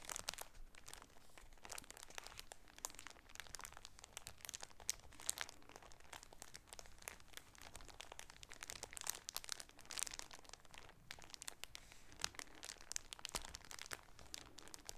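A striped shower curtain folded inside a clear plastic bag, back side facing out, is held in both hands and crinkled with the fingertips and nails. The result is a steady, quiet stream of bright, crisp plastic crackles and sharp ticks. Each sound dies away almost instantly.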